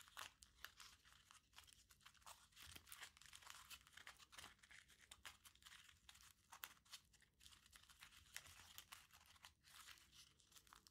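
A small crumpled aluminium foil ball is squeezed and rubbed with the fingertips, giving a dense, continuous stream of bright, sharp crinkles and crackles. The sound is quiet and close, mostly high and with little low end.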